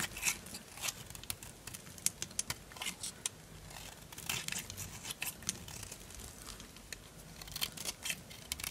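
A small knife scrapes a solid orange Duru bar soap held in the hand, shaving off dry flakes. Quiet, crisp scraping and crunching come in quick bursts, bright and hissy with little low end. The sharp, dry scrapes stop short with no ring.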